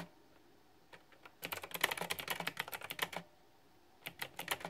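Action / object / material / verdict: tap / plastic mechanical keyboard with round keycaps / plastic / none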